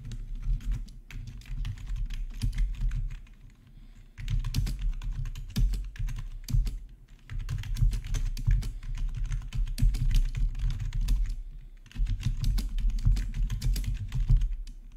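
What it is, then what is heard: Plastic keyboard being typed on. Both hands type with their fingertips on a black plastic RGB backlit gaming keyboard, producing rapid, steady keystroke clatter with a deep low thump under each press. The typing comes in bursts separated by brief pauses around four, seven and twelve seconds.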